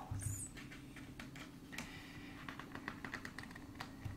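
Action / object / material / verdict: tap / glossy paper page of a thick hardcover book / paper / none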